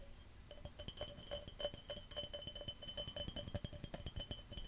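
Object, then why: Glass cup. A glass cup is tapped quickly and aggressively, and scratched, giving a dense run of sharp clinks. Each clink carries a bright ringing tone around 580 Hz with a higher overtone near 3 kHz that fades almost immediately. The sound is mostly high-pitched, with little low end.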